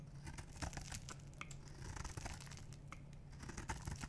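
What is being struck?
Bar of soap.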